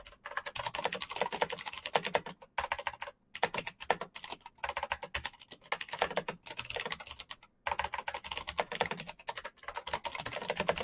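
Fingertips type rapidly on a black plastic mechanical keyboard, producing a dense stream of sharp, bright clicks and clacks with almost no low end. Each keystroke dies away instantly, and the flurry breaks for brief pauses near 2.5, 3.2 and 7.5 seconds before resuming.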